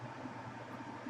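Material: Nothing is struck.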